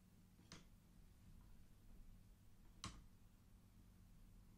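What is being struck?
Wooden abacus beads on metal rods.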